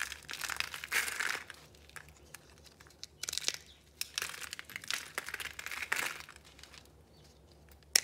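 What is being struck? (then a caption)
Soap pieces. Fingers break and crush layered, rainbow-colored pieces of dried soap, solid and brittle, into crumbs on a red cloth. The result is bursts of dry, bright, crackling crunches separated by quiet pauses, ending in a sharp snap.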